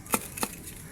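A jackfruit still hanging on the tree is knocked to test it, giving two short, dull knocks with a low body around 220 Hz and a bright, papery top that dies away almost instantly. The fruit is judged ripe and ready to be taken off the tree.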